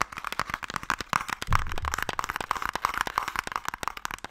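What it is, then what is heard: Wooden box tapped. A closed wooden Mikado box, held in both hands, is tapped rapidly across its lid with fingertips and long nails. The result is a steady stream of short, dry, hollow clicks that resonate around 1.2 kHz. A brief, deeper thump comes about one and a half seconds in.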